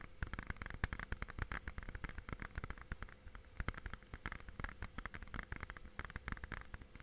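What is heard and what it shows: A clear, hollow plastic DVD or game case is held edge-on in both hands while fingertips tap rapidly along its plastic spine and edges. The result is a steady stream of short, dry, clicky taps with a low hollow thump underneath and a mid-range plastic knock. Each tap dies away almost instantly, with a faint background hiss between them.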